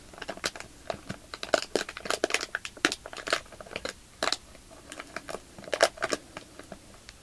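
Fingertips and short nails squeeze a small, soft, clear plastic bag filled with white polyester fiber fake snow and bearing a paper label, crinkling the plastic. A rapid, irregular series of sharp, bright crackles and crunches is heard, with brief quieter gaps between bursts and almost no low end.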